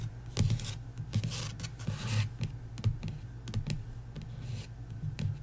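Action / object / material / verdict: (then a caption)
tap / paperback book cover on wooden table / card / none. Long nails tap rapidly on the card cover of a paperback book lying flat on a wooden table. The taps are quick, soft and irregular, each with a dull low thump and a short bright click. Faint brushing sounds drift in between them.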